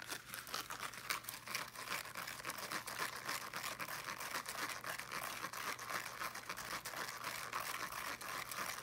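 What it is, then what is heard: Fabric-covered small speaker being scratched. Fingernails scratch quickly across the fabric mesh of a small teal fabric-covered speaker held in both hands. The result is a dense, steady run of soft, crinkly scratching strokes with bright texture above about 1 kHz and almost no low end.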